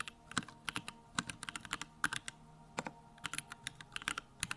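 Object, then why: Mechanical keyboard with plastic keycaps. Fingertips type fast and continuously on a compact Bakeneko65 mechanical keyboard with Durock lavender switches and plastic keycaps. About 25 short, crisp clacks sound in quick succession, each with a bright click centered near 1.5 kHz and little low end. Every keystroke dies away almost instantly.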